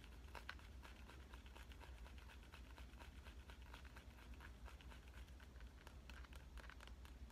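A smartphone in a clear avocado-print plastic case, held at an angle, has its edge and back tapped with fingernails. The result is a quiet, steady stream of quick, light clicking taps over a constant low hum.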